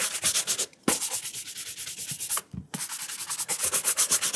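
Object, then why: Leather shoe upper brushed with a horsehair brush. A burgundy leather dress shoe with a studded rubber sole, held up in the hand, has its upper brushed repeatedly with a wooden-backed horsehair brush. Quick, bright, scratchy bristle strokes follow one another in a fast rhythm, broken by two short pauses before the brushing resumes.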